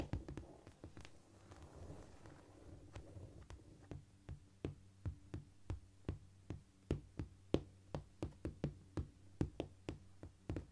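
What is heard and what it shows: Long fingernails tap on a flat, solid cork floor, including single-finger nail taps. It opens with a busier, scratchy flurry of tapping for the first few seconds, then settles into evenly spaced single taps about twice a second. Each tap is short and dull, with a quick click and almost no ring, over a faint low steady hum.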